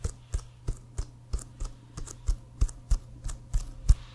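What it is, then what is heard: Leather American football. Fingernails tap rapidly on an inflated, hollow leather American football bearing the CFL logo, held upright. Each tap gives a short, dull low thud with a faint bright click and almost no ring, repeating at a steady, unhurried pace.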